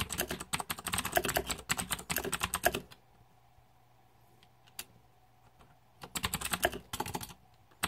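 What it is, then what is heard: Plastic mechanical keyboard. Fingertips type on a green-backlit Razer 2014 Deathadder mechanical keyboard with plastic keycaps, producing rapid, bright, clacky keystrokes for about three seconds. A quiet pause follows, with a faint steady hum and a single isolated key tap. Typing then resumes in two short bursts before the clip ends.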